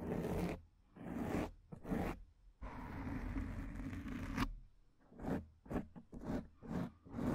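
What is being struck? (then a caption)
Foam microphone windscreen. Long painted acrylic nails of both hands scratch across a soft, porous, fist-sized black foam windscreen over a microphone. The result is a series of coarse, zipper-like raspy strokes, including one long sustained scratch in the middle, separated by brief silences. The sound is muffled and bass-heavy, with little brightness.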